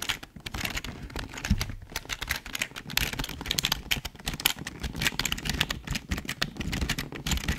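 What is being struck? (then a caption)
Plastic computer keyboard. A full-size, hollow black plastic Logitech keyboard is tilted in the hands while fingertips type and tap its keys. The result is a rapid, dense stream of bright plastic clicks and clacks with low hollow thumps underneath, each stroke dying away almost instantly.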